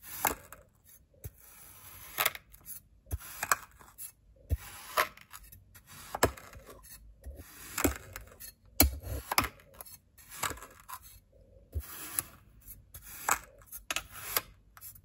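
A white ceramic knife tip repeatedly slices and scratches lines into compacted blue kinetic sand in a small clear glass bowl. Each stroke gives a short, crisp, crunchy scrape with a bright gritty hiss. The strokes are separated by near-silent pauses, with a faint low rumble underneath.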